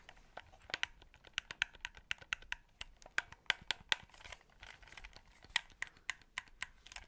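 Fingertips tap and click the face buttons and sticks of a white, hollow plastic Xbox 360 controller held close to the mic. About 23 short, bright, dry plastic clicks and taps come in an irregular rhythm, each dying away almost instantly, over a faint crinkly, scratchy background with almost no low end.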